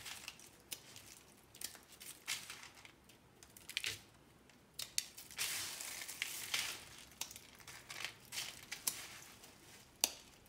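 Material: Dried soap.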